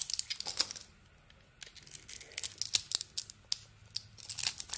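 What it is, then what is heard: Bar soap being shaved. A small metal blade shaves a solid, hand-sized, glossy purple soap bar embossed "Speick" with an orange interior. Bright, crisp crackling and scraping bursts come in quick runs, with a short quiet stretch near the start before the shaving picks up again. The cuts are dry and thin, with almost no low end and no ring after each stroke.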